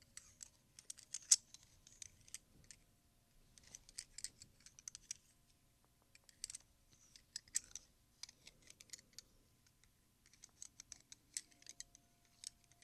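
A fanned stack of large solid silver Morgan silver dollar coins is held in both hands while fingertips rearrange them and click them together. The result is quiet, bright, high metallic clicks and light clinks in loose bursts with brief pauses, each tick dying away almost instantly.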